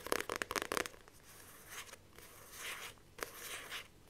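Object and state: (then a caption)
Paperback book with glossy card cover. Long nails rapidly tap a paperback book with a glossy card cover, held up, about eight quick, bright clicks in the first second. The nails then scratch and grip the cover, giving soft, hissy swells of friction and a final sharp tap at the end.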